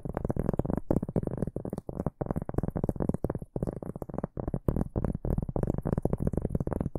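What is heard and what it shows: A large, solid, round flat cork board or coaster is held upright in both hands and scratched with the fingertips and short nails of both hands. The result is a dense run of rapid, dry scratching strokes with a heavy low-end thump, broken by brief pauses, plus a faint, airy high hiss above.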